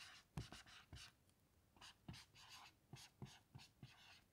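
A black dry-erase marker writes lines of text on a small melamine lap whiteboard lying flat, with a hand with long patterned nails resting on the board. Short, bright, scratchy squeaks come in quick bursts, each starting with a soft low tap as the tip meets the board. The strokes are quiet and dry, with almost no ring between them.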